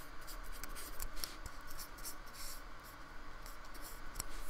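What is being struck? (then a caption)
Polystyrene foam block brushed with a fine brush. A fine brush with a metal ferrule scratches and rubs in repeated strokes across the textured surface of a small painted square of solid white polystyrene foam resting on a wooden table. The result is a soft, continuous dry scratching with bright, airy swishes that swell and fade with each stroke, over a faint low rumble and a few sharp little ticks.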